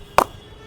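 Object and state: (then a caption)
Cricket bat with a solid ping. A premium English willow cricket bat, specially crafted for the shop, is struck once with a ball. It gives a single sharp, bright ping centred around 900 Hz that dies away almost instantly. The ping is solid, similar to that of a player's bat.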